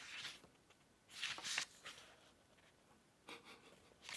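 A thick paperback book lies open on a green cloth table while both hands riffle and flip a bundle of its paper pages with the fingertips. Quiet, bright, papery rustles and flicks come in short irregular bursts, with soft hiss in between.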